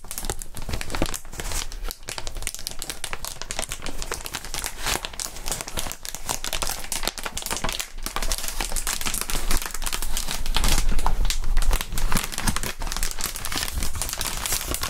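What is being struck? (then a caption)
Inflated plastic air column wrap. Fingertips crinkle and squeeze a clear, inflated plastic air column cushion wrap with valves, making a dense, continuous crackling and crinkling across the full length. The sound stays bright and steady, getting slightly louder and busier toward the middle-late part before settling back down.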